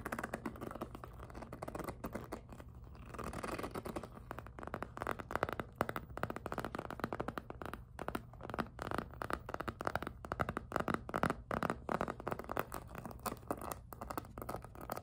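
Long nails and fingertips tap and grip the squeaky plastic front of a small, hollow, glossy pink jelly PVC handbag. A dense, continuous run of quick, dry clicks and scratchy squeaks fills the clip, centered in the midrange over a faint steady low hum.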